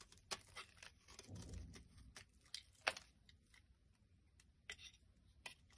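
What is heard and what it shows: A knife blade scrapes and carves chunks off the end of a solid pink bar of soap held in the hand, and the shavings crumble away. Quiet, crisp scraping cuts and sharp bright clicks come at irregular intervals, with a soft low rustle of handling in between.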